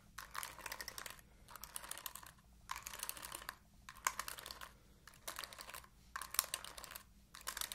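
Long nails scratch and flick across the bristles of an oval plastic paddle hairbrush in repeated short bursts. Each burst is a quiet, dense, bright crackle of rapid ticks, separated by brief pauses, over a faint steady low hum.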